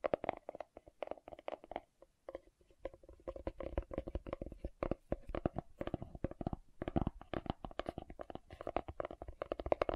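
Fingernails tap and scratch the lid of a green plastic aloe vera gel jar held up facing forward. The result is a steady stream of quick, dry, hollow clicks with a mid-range tone and scratchy rasps, each tap dying away almost instantly.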